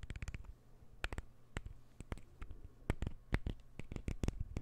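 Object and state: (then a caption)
Wooden puzzle ball. A palm-sized light-wood puzzle ball is held near the microphone and scratched with fingernails. The result is a quick, uneven series of dry, sharp scratches and clicks with a soft, low undertone and almost no ring.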